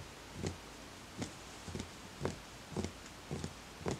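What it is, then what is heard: Hollow wooden bowl. Fingertips tap the outer wall of a small, empty, hollow wooden bowl at a slow, uneven pace. Each tap is a soft, low, hollow knock with a brief bright edge that dies away almost at once, leaving quiet between taps.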